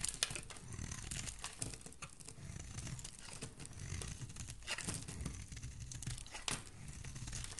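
A solid green oval soap bar held in the hand has its edge shaved and scraped with a metal utility blade, sending green shavings falling. A steady, dry, crinkly scraping runs throughout with bright high hiss, dull low handling rumble, and a few sharper snapping cuts standing out.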